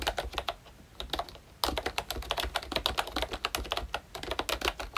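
A full-size ROYCHE Disney Mickey Mouse retro membrane keyboard with round plastic keycaps is typed on continuously with the fingertips of both hands. It gives a rapid stream of soft, bright plastic clicks with a faint low thump under each keystroke. The typing eases off briefly, then resumes more loudly.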